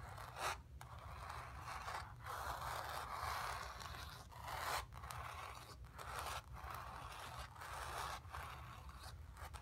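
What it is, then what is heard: Painted cotton canvas. Long nails scratch across a painted cotton canvas, working over a sphere shape and the bottom area. The scraping strokes sound dry and rasping, with a bright upper edge, separated by short pauses, over a faint steady low hum. The overall level is soft.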